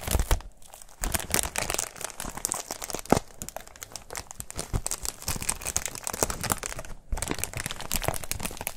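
A thin white textured foam wrap sheet is squeezed and crinkled between fingers, close up. Dense, bright crinkling and crackling runs throughout, with a few sharper pops and two brief quiet gaps.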